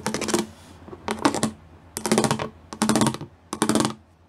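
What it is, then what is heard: Studded plastic panel, tapped. Fingertips tap rapidly on the pyramid studs of a solid grey plastic panel. Five quick bursts of light, dry clicking are heard, each about half a second long with short pauses between. The taps are crisp and bright, with very little ring.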